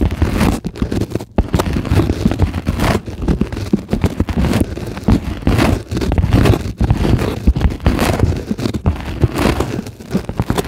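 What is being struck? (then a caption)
Polyethylene foam sheet scratched and tapped with long nails. Long glittery acrylic nails on both hands scratch and tap a solid, flat, white closed-cell polyethylene foam sheet. The result is a dense, continuous stream of soft, muffled scratches and short crackly taps, weighted toward the low end and fading almost instantly.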